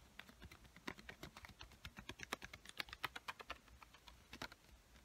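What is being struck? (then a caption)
Paper sticky note pad. Long white-painted nails rapidly tap the surface of a small square pink paper sticky note pad, a solid paper stack held up in the air. About thirty quiet, dry, bright clicks come in an uneven, fast patter, each dying away instantly with no ring.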